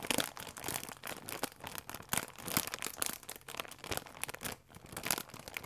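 A full plastic film croissant pack is squeezed, crinkled and pressed with fingertips. It gives a dense, continuous run of sharp, bright crackles and crinkles with little low end, swelling and easing in loudness throughout.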